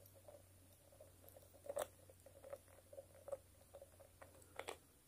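Long stiletto nails tap and scratch on a small glass nail polish bottle with a shiny green cap, across both the glass and the cap. The result is a quiet series of short, sharp clicks with a faint glassy ring around 550 Hz and brief bright scratchy edges over a low steady hum.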